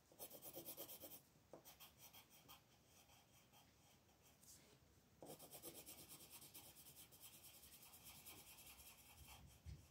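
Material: Paper.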